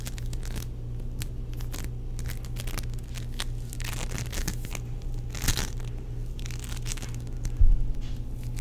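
A palm-sized, solid, sticky purple ball of tiny foam-bead play foam is squeezed, pressed and pulled by fingertips and palms, giving dense crackly, crushing and tearing sounds. A steady low hum sits underneath throughout, with a louder crunch near 5.5 seconds and the sharpest burst around 7.7 seconds.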